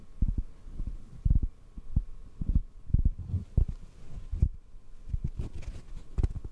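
A hollow black foam microphone windscreen is held in both hands and tapped and squeezed with the fingertips. The result is a string of soft, dull, low thumps with almost no ringing, set over a faint steady low hum.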